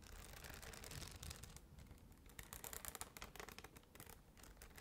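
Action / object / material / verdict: scrape / spiral notebook with glossy hard cardboard cover / cardboard / none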